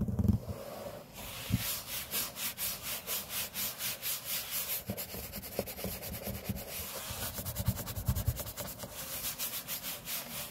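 Fingertips and short nails rub and scratch across a large, flat, solid grey laminate tabletop. Rhythmic, bright, dry scraping strokes repeat steadily, with a few soft low thumps where the hand meets the surface. The sound stays close and even throughout.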